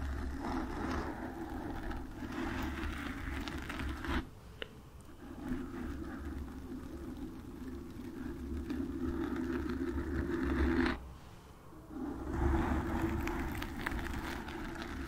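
Long white acrylic nails on both hands scratch and rub the porous surface of a black foam windscreen on a desktop microphone. The result is a steady, dense crackling rustle with a low rumble. It drops away briefly twice, around 4 and 11 seconds, before resuming.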